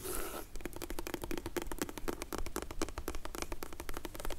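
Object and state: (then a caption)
Faux leather glasses case. Long nails tap and scratch across the textured surface of a closed, dark grey faux leather hard sunglasses case as it is rotated. A brief hissing scrape opens the clip, followed by a rapid, uneven stream of dry, short clicks and scratchy taps with a faint tone around 320 Hz.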